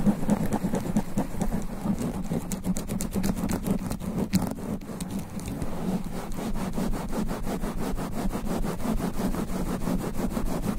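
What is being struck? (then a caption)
Foam microphone windscreen. Both hands scratch fast and aggressively with black extra-long nails across a sponge foam microphone windscreen. The result is a dense, continuous run of rapid, rough scratching strokes with a heavy, muffled low rumble near 200 Hz and very little bright content, holding a steady level throughout.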